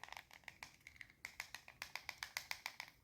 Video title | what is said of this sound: White River Ursus Cub - Grosse déception | je trouve que c'est un petit peu dommage d'avoir ce petit jeu et ce bruit de... Ça fait cheap un peu